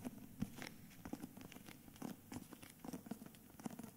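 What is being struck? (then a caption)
Hardcover book with paper dust jacket. Fingertips and nails tap and scratch the cover of a solid, medium hardcover book, *Meistererzählungen*, in a cream paper dust jacket held upright in both hands. Quick, soft taps with a low, dull body around 210 Hz mix with dry, papery scratching and crinkle. Each sound is short and dies away almost at once, leaving a quiet, close patter throughout.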